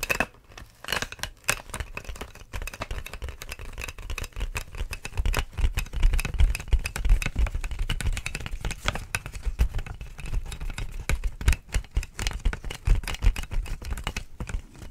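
Long nails tap and scratch over the air tubes of clear, inflated plastic air-column packaging held up close. The result is a dense, irregular stream of short, dull taps with a low, thumpy body, mixed with light crinkly scraping, quiet at first and busier from about five seconds on.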